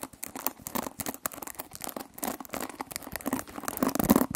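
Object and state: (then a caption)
Plastic hairbrush with metal pins. Long nails scratch and pluck across the metal pin bristles of a hand-sized oval hairbrush with a white plastic body and a cushion of pins. Rapid, dense crackling and crinkling scrapes come in quick bursts, each snapping off almost at once, with a faint twangy tone growing a little louder toward the end.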